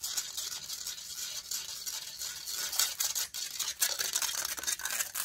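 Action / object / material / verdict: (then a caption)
scrape / metal mesh microphone grille / metal / none. Long nails scratch and rub across the hollow metal mesh grille of a silver condenser microphone, held close. The result is a dense, continuous, bright rasping hiss with almost no low end, swelling into sharper scraping bursts as the nails drag over the mesh.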